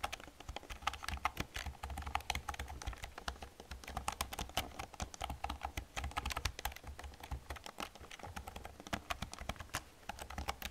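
Fingertips and long nails type rapidly on an old black plastic computer keyboard. A dense, steady stream of short, crisp key clicks rides over a soft low thump from the keys bottoming out, each click dying away almost instantly.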